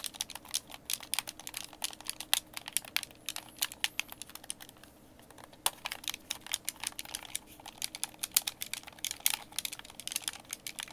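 A white, hand-sized, hollow plastic Xbox game controller is held in both hands while fingertips tap and click its buttons and thumbsticks. A quiet, rapid stream of dry, bright clicks dies away instantly, with a brief lull about halfway through before the clicking picks back up.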